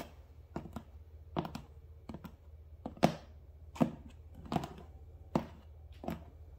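Fingernails and fingertips scratch and tap the front side of a medium, closed cardboard Prime shipping box. The result is an irregular series of short, dry, muffled taps with soft scratching in between. The sound is quiet and mostly low, with no ring after each hit.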